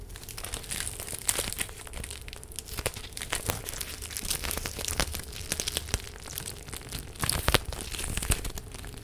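A clear plastic face mask filled with pink gel beads is held in both hands and crinkled and squeezed with the fingertips. Dense, bright crinkling and crackling comes in quick bursts over a low, steady hum. The sharpest crackles cluster near the middle and the end.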